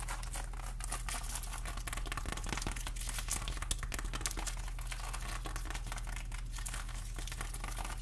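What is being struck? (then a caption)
Whole pineapple, rind. A whole pineapple is held near the microphone while its rind is scratched with long nails. Dense, continuous crinkly scratching and crackling rasps run steadily over a constant low hum, with bright, short bursts scattered throughout.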